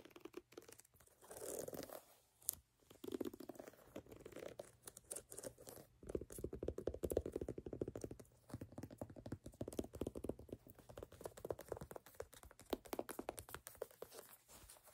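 Fingertips and nails tap and scratch the solid brown ridged rubber outsole of a platform sneaker, then move to the rubber midsole edge. The result is a quiet, dense stream of dull, dry taps and scratchy crackles centered in the low mids, with very little brightness and no ring after each contact.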